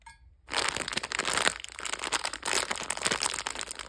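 A sealed, hand-size red Shiba Lovey Dovey plastic candy bag full of gummy and marshmallow hearts is held in both hands and squeezed and crinkled by fingers with long red nails. After a brief quiet start, a steady, bright crackling crinkle of plastic begins at about half a second and continues to the end, with small crunchy surges throughout.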